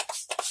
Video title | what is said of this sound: Candy Hearts Inspired Valentine's Day Look (with check-in) using the Slush Palette by September Rose | it's the one that makes that sound when you shake it